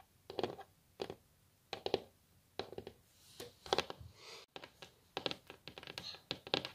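Long natural nails of both hands tap and scratch on a flat, solid, glossy wooden tabletop, possibly laminate. Quick, dry clicks come in bursts with short scratching passes between them. The ticks are bright with almost no ring.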